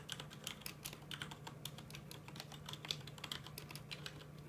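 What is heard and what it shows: Fingertips of both hands type on a full-size mechanical keyboard with plastic keycaps, producing a rapid run of bright, short clicks and clacks. A steady low hum runs underneath the tapping.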